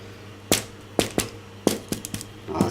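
Two homemade baguettes, still hot after half an hour in a 240°C oven, are held up and tapped. The taps are a series of sharp, dry, hollow knocks with very short decay. They sound good, meaning the loaves are baked through.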